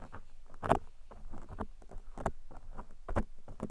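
Metal tweezers and picks are dragged and scratched across the surface of a large black open-cell foam microphone windscreen. The result is a steady run of soft, muffled, crackly scrapes, with a few louder, sharper bursts standing out. Each scratch is short and dry, with almost no ring.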